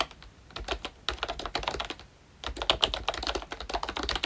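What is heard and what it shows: Two hands type with their fingertips on a pink plastic ROYCHE Disney Mickey Mouse retro membrane keyboard with round black keycaps. They make quick, bright, clicky taps that die away almost at once, with a brief quieter lull midway before the typing picks up again.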